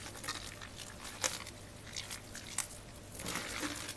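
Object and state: Soaked bar soap, wet and mushy.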